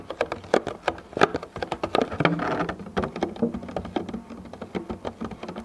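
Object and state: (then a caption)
Thin plastic food container tapped with fingertips. Fingertips with short painted nails tap and pat across a medium, clear, thin plastic clamshell food container that lies hollow and empty on its side. The result is a quick, irregular patter of light, hollow clicks with very short ring, broken around the middle by a brief sustained crinkly rub of the plastic.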